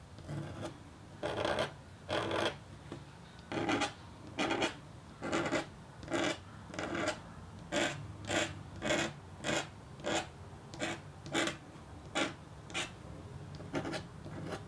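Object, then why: Coated copper-foil scratch-art board scraped with a metal stylus. A red-handled metal stylus scratches repeated strokes into a flat, thin black-coated copper-foil scratch-art board, working through a small window in a white paper mask to reveal the copper beneath. Each stroke gives a short, dry rasping scrape with a bright edge, coming in a steady rhythm with quiet pauses between.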